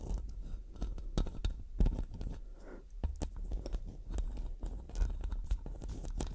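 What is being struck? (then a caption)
Metal microphone mesh grille. Long dark nails rub and scratch the metal mesh head of a black studio microphone. Close, crunchy scraping with rapid clicky taps and bright ticks rides over a heavy, boomy low rumble throughout.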